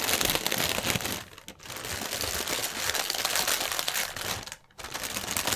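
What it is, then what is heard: Plastic air cushion packaging film. Hands scrunch and twist a section of clear plastic air-pillow strip, a type of air cushion packaging film, on a white table. Dense, bright, crackly crinkling runs almost continuously. It briefly quiets twice, around 1.5 and 4.7 seconds, before picking back up.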